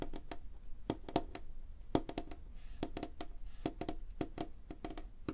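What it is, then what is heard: Wooden tabletop, solid. Both hands tap rapidly on a light-colored, flat, solid wooden tabletop with fingertips and short nails. The result is a quick, irregular patter of short, dry knocks with a woody tone around 312 Hz and faint clicky edges. Each tap dies away almost instantly.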